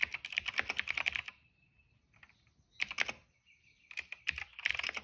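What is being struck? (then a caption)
Plastic mechanical keyboard keys. Both hands tap quickly with their fingertips on a retro-style cream plastic mechanical keyboard with black, purple and yellow keycaps, resting on a rug. Bright, sharp clacking keystrokes with very short decay come in fast bursts, centered around 2.3 kHz. Near-silent pauses separate the bursts.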